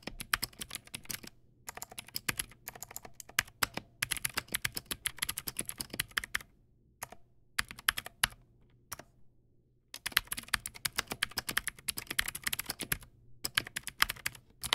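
Fingertips type on a Teamwolf Zhuque+ X08, a backlit plastic mechanical keyboard with white plastic keycaps and clicky blue switches. Rapid, bright, sharp clicks arrive in dense bursts, with short pauses around the 1-, 2.5-, 6.5- and 9-second marks. Each click dies away almost instantly, with only a faint low hum underneath.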